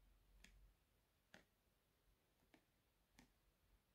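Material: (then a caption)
Plastic. Long painted nails tap and handle a medium, soft plastic squeeze tube of purple-and-white DERMOLAB exfoliating face scrub with a white cap, apparently full and held in both hands. Four short, quiet tick-like clicks ring out against a faint low rumble, each fading within about a tenth of a second.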